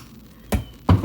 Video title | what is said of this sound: Old School 3 wood VS New School 3 Wood!! | That ball was very quiet when it hit the face. Very muted.